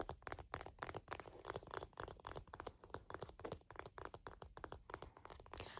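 Fingertips tap and scratch rapidly on a plastic bar-of-soap holder container. The result is a dense run of short, dry clicks and crinkly scratches with little ring.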